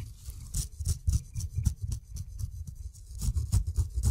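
A steel razor blade shaves the dense brown fuzz from the skin of a whole kiwi fruit. Quick, irregular scraping strokes each give a short bright rasp over a soft low thud, with quiet gaps between.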